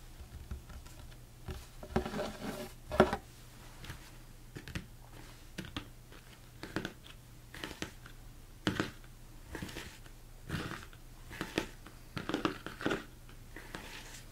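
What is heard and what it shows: Fingernails tap and scratch the top and sides of a large, hollow, empty plastic mixing bowl turned upside down. Irregular clusters of quick, hollow clicks and light scraping taps die away almost at once. A faint steady low hum runs underneath.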